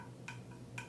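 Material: Bamboo.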